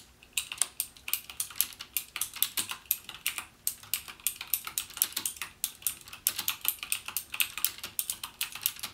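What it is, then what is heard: Plastic mechanical keyboard. Fingertips type steadily on a backlit mechanical keyboard with plastic keycaps and Cherry MX Blue switches, pressing the keys only halfway down. About 55 separate keystrokes sound as crisp, bright clicks that die away almost instantly, with very little low end.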